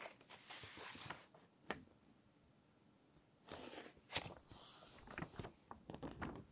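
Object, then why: Thick paper magazine. A thick paper magazine is held open in both hands while its pages are turned, with long nails and fingertips rubbing and holding the paper edges. Soft, bright rustling swells alternate with sharp crisp ticks and crackles, separated by quiet pauses.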